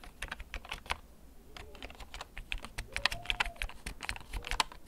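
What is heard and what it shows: Fingertips type slowly on a black plastic backlit mechanical gaming keyboard held in both hands. Short, sharp, bright clicks and clacks come in an uneven, unhurried rhythm, each dying out instantly over a low background rumble.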